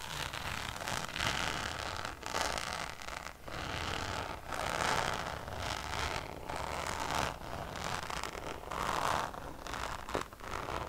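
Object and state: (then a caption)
Coated canvas pouch. Long nails scratch the textured surface of a Louis Vuitton Damier checkered coated canvas pouch held up in the hand. The result is a steady, dry, rustling scrape in a run of overlapping strokes, with brief lulls between passes and bright, hissy edges.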